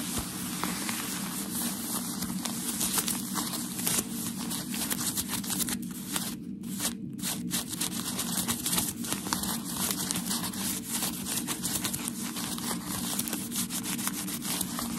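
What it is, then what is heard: Tissue packaging paper. Fingertips and nails tap and scratch a small wad of white tissue packaging paper from a shoebox, held in one hand. A dense, continuous crinkling and rustling runs throughout, full of sharp, bright crackles over a steady low hum.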